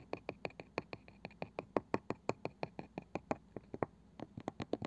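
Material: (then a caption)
Wood. Long painted nails on both hands tap and scratch quickly across the pale wooden lid and rim of a small, palm-sized round box with a ridged, woven-looking side band that seems hollow. About 29 short, dry, bright clicks come in an uneven, rapid patter, each dying out almost at once, with a faint scratchy hiss between them.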